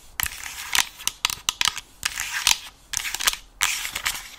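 Long nails tap and scratch on the hollow white plastic earcup of a gaming headset with an alien logo. Sharp, bright clicks alternate with short scratchy rasps, almost no low end and no ring after each tap, leaving an irregular clatter of dry plastic ticks.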